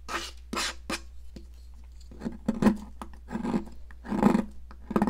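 A metal palette knife scrapes a solid yellow popsicle-shaped stick of sidewalk chalk in short, irregular gritty rasps. Yellow chunks and powder fall onto a plastic mat, with soft crumbling ticks between strokes over a steady low hum.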